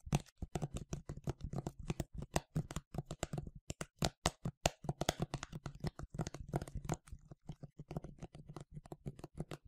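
A medium yellow plastic sunscreen spray bottle, hollow and partly filled, is held in both hands and tapped rapidly on the front with fingernails. The taps are quick, crisp clicks over a hollow low thump, each dying away almost at once, in a steady, irregular stream that runs the whole clip.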